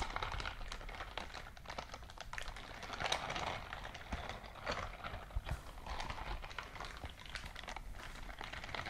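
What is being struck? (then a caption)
Silicone scrubbing glove. A white silicone dishwashing scrubbing glove is clenched in a fist while its silicone bristles are squeezed and rubbed together close up. The result is a quiet, dense stream of rapid ticking and crackling clicks with a soft low rumble underneath, swelling and easing in uneven bursts.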